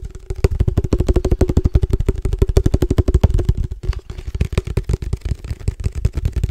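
Fingertips tap rapidly on a case for padel balls, making a fast, uneven stream of short, dull thumps for about six seconds. The taps are mostly low and muffled, with a faint steady ring underneath and a brief pause just before the four-second mark.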